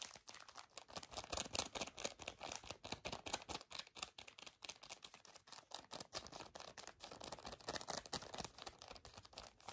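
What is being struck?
Pocket tissue pack in a soft plastic wrapper.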